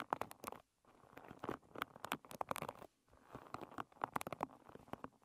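Long red nails strum and scratch across the tips of the many wooden pins on a hairbrush lying bristles-up. Quick, dry clicking and ticking pluck in dense bursts, with faint plinky tones near 850 Hz. Two brief silent pauses break up the patter.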